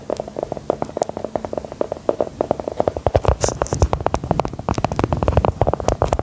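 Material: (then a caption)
Biscuit. A small, solid, brown round embossed biscuit, held in the hand, is tapped and scratched with long gold metal filigree nail claws. The rapid, dry clicks are short and muffled, with a low, hollow body and little brightness. The taps grow busier and more continuous in the second half, mixed with light scratching.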